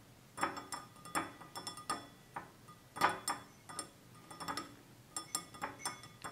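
Fingertips and nails tap the rim and sides of a small, hollow, empty stemless drinking glass made of clear glass with a red-tinted base, standing on a table. The result is a quiet series of irregular, bright clinks and ticks, each with a brief glassy ring around 1 kHz that dies away quickly, with some taps landing in quick clusters.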